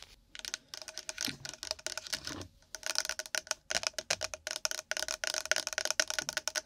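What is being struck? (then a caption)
Nori seaweed in plastic packaging. A pack of nori seaweed in its packaging is tapped and scratched quickly with long nails. The result is a rapid run of crisp, bright clicks and dry crinkly scratches with almost no low end, broken by a short pause midway.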